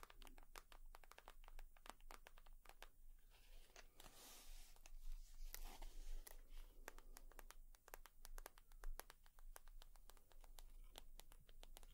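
Long nails tap and scratch a leather purse, making rapid, uneven, sharp clicks with short bright transients that die away almost instantly. Scratchier rustling swells through the middle, from about 4 to 6 seconds, over a steady low hum.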